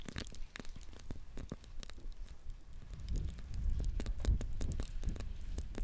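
A small, palm-sized squishy stress ball with a soft rubber skin, filled with gel and glitter, is held close and squeezed over and over by the fingertips of one hand. It makes a dense run of soft, low, squelchy presses mixed with sharp crackly clicks, and the squishing grows louder and heavier in the second half.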